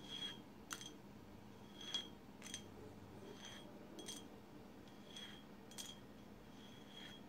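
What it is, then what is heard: Painted glass bottle. Long silver acrylic nails tap and scratch a tall blue swirl-painted glass bottle, with both hands gripping near its base at the end. Quiet, irregular clicking taps each give a short, bright glassy ring near 3.3 kHz, with soft scratching between them over a low steady hum.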